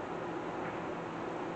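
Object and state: Nothing is struck.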